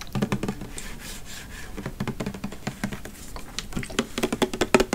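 A pink plastic body mist bottle with a copper cap, filled with liquid, is tapped and scratched with fingernails close to the microphone. Rapid, crisp fingernail taps with a low, hollow knock alternate with brief soft scratching passages. Each tap dies away almost at once, and the tapping grows denser and louder toward the end.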